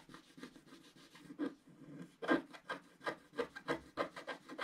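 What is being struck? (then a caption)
Wooden stylus scratching wax-coated scratch art paper. A wooden stylus scratches the black coating of a flat, wax-coated scratch art page to reveal the color underneath. The clip is a quiet series of short, dry, raspy strokes, each fading quickly, with a soft scraping texture centered in the low-mid range.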